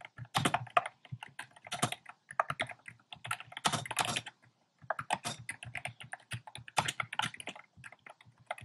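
Fingertips type quickly and densely on a compact plastic mechanical keyboard with round pastel plastic keycaps in a dark frame. The result is a rapid stream of short, bright, clacky keystrokes with a low thock beneath them, broken by a brief pause around the middle before the typing resumes.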